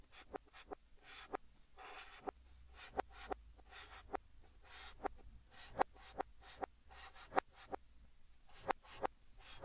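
Fingertips hold a yellow chalk stick and write Korean text on a large, flat green chalkboard, with the audio played in reverse. Soft, bright scratching strokes alternate with about 16 sharp, dry taps of the chalk against the board, over a quiet background.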